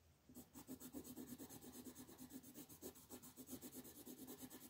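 A red colored pencil shades large areas of a flat paper coloring sheet lying on a table, using quick repeated back-and-forth strokes. After a brief quiet start, a steady rhythmic scratchy rasp pulses with each stroke, bright and hissy on top with a soft papery body underneath. The sound stays quiet and close throughout.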